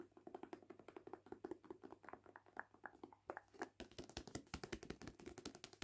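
A hand-held paperback of *The Witchery* has its glossy card cover and spine tapped and scratched with long painted nails. The result is a quiet, irregular run of short, dry clicks over faint scratching, with the tapping becoming faster and brighter in the second half.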